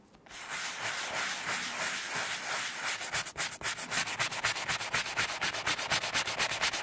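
A horsehair brush held in the fingers scrubs in circles over a small embossed vintage Gucci sima leather bifold wallet lying flat and covered in saddle soap foam. A steady, bright, foamy scratching hiss in the first half turns into quick, rhythmic brush strokes at about two per second.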